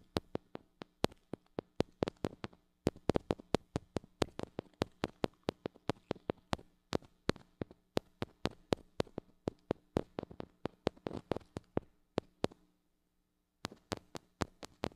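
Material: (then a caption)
Metal. Long acrylic nails tap rapidly on the metal mesh grille of a small gold-colored mini microphone with a metal body and hollow head, held in one hand. Dozens of sharp, dry clicks with bright tops and almost no ring come in quick irregular bursts over a steady low hum. A brief silent pause falls near the end before the tapping resumes.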